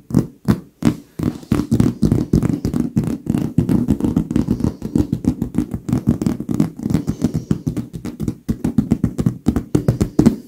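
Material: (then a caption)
Leather. Both lace-gloved hands with long nails tap quickly with their fingertips on a large, soft, filled white leather pillow. The result is a rapid, steady stream of short, dull, muffled taps with a low-mid body around 230 Hz, very little brightness, and almost no ring, broken by a few brief pauses.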